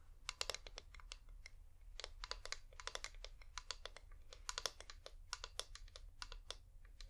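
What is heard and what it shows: Painted fingernails tap quickly on a hand-sized, wax-covered flameless LED pillar candle with a hollow top. The result is a quiet, irregular run of dry, bright clicks in rapid bursts, each dying away almost instantly over a low, steady rumble.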